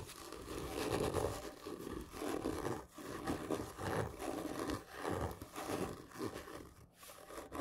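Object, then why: Cardboard gift tube. Fingernails press and scratch hard and slowly along a large, hollow, black printed cardboard whisky gift tube lying horizontally. Slow, rough scraping strokes swell and fade one after another, with a hollow, resonant body centered around 400 Hz and little bright content.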